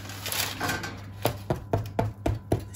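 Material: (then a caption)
Bread. A freshly baked farmhouse bread loaf, just out of the oven after about an hour at 190 degrees, is turned over with a brief rustle and then knocked on its bottom six times. Each knock is a short, dull, low thud. The loaf sounds nicely hollow, showing it is baked through and done, later revealing a crispy crust and a light, airy crumb.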